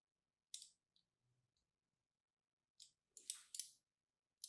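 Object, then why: Bar of soap scraped with a metal pin. A thin metal needle or pin, in a hand with long red nails, scratches and carves the surface of a small, solid, striped pink-and-white bar of soap held in the other hand. Seven short, bright, crisp scrapes are heard, almost entirely in the high frequencies, separated by near silence.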